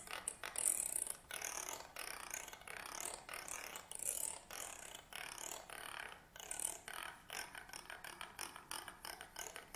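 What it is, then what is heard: Wooden comb. A black stick-like tool, held vertically, is scraped along the teeth of a wooden comb lying on a table. It makes rapid, bright clicking rattles in short bursts with brief pauses between them. The sound is quiet and dry, and the clicks fade almost instantly.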